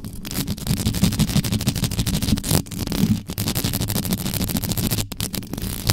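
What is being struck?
Metal mesh microphone grille.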